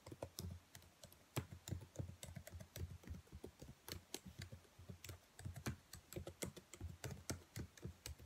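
Long white nails tap on the black plastic keys of a laptop keyboard in a quick, uneven run of light taps. Each tap is a short, dry click with a soft low thump and brief bright edges, dying away almost instantly.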